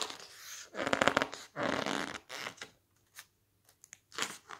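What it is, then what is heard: Glossy paper cookbook pages. Fingertips flip and press the thick glossy pages of a large softcover cookbook lying open on a stack of magazines. Bursts of crisp, crackling paper rustle and flapping alternate with short, soft page flicks and brief silences, ending with one more bright rustle.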